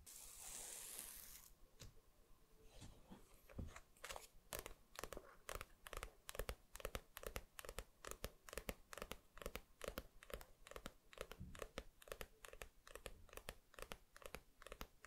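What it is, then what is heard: Paperback manga book with glossy cover. Fingertips tap and scratch the glossy paper dust jacket of a small, solid paperback manga book, Koe no Katachi volume 7, lying flat. A soft, bright scratching hiss opens the clip, then many short, dry taps follow at an uneven, quick pace until the end.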